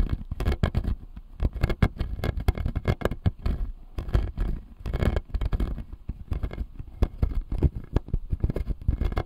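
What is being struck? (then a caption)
Acrylic jaw model with resin teeth. Fingernails tap and scratch the resin molars on the lower arch of a clear acrylic jaw model, a plastic dental model. Dense, rapid clicks and short scrapes run throughout, mostly low and dull with brief bright ticks. They come in uneven bursts with no lingering ring.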